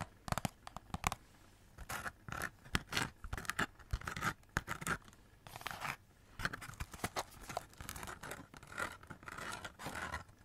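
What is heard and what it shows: A hollow cardboard Christmas cracker wrapped in glitter paper and silver foil is held close and scratched along the glitter and foil with long nails. The result is a run of dry, crackly scrapes and short scratching strokes with a bright papery rustle and quick, dense bursts that stop short.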